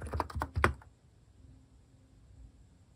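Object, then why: Keyboard with plastic keycaps. Fingertips type on a compact electrocapacitive keyboard with plastic cat keycaps, making about four quick, soft, thocky keystrokes within the first second. Each press is a short, low, rounded tap with little bright click. Afterward the typing pauses, leaving near silence with a faint low hum.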